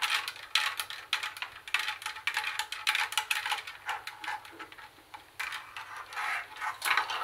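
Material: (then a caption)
Plastic, metal. Long nails tap and scratch the metal mesh speaker grille and plastic front panel of a hollow plastic CD cassette boombox. The result is a rapid, uneven run of bright, dry clicks and scrapes with almost no low end and only a very short ring after each tap, brief quieter gaps breaking up the flurry.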